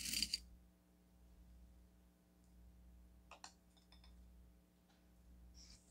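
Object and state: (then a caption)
Coarse bath salt crystals stirred in a stone cup. A red chopstick pokes and stirs coarse blue bath salt crystals in a small striped onyx stone cup, giving a rattling, crunchy sound. Three short, bright clicks stand out: two close together at the start and one midway, with faint scattered crackles between them. A steady low hum runs underneath throughout.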